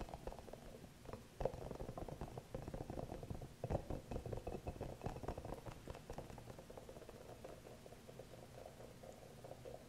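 Fingernails tap and scratch the surface of a small green hollow rubber massage ball with soft spikes, held close to the mic. The result is a quiet, dense run of dry, crackly taps and scrapes with a muted, hollow midrange tone and almost no ring. It grows a little busier in the middle and eases off toward the end.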